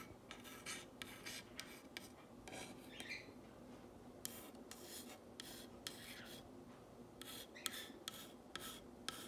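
A long fingernail traces and scratches the white letters of "What's a nice girl..." on a black painted wooden box sign. Quiet, bright, dry rasping strokes come in quick bursts over a soft steady hiss, each stopping sharply with no ring.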